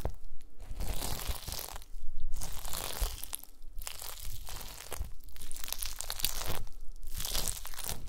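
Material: Gelatin.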